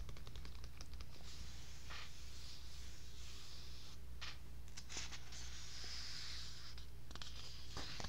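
Fingertips with long pink nails scratch and tap across the printed paper page of an open paperback novel lying on a bedsheet, then turn a page. Soft, bright papery scratches and quick taps run over a steady low hum, ending with the book open to a new spread and one hand lifted off.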